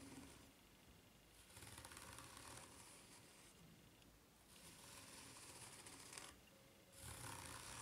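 Long nails slowly scratch along the ridges of a white rubber flip-flop sole held bottom-up and tilted. Three bursts of bright, hissy scraping rise and fall with quieter pauses between them.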